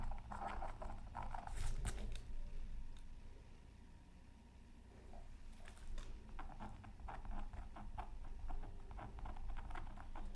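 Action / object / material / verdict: scrape / black-coated scratch art paper scraped with a wooden stylus / coated paper / none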